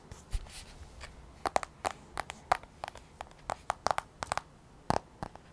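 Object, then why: Glass tablet screen. Long nails tap and scratch on the black glass touchscreen of an iPad held at an angle. A quick, irregular series of sharp, dry clicks, some carrying a faint tonal ping around 750 Hz, is heard over soft scratching and a quiet background. Each tap dies away almost instantly.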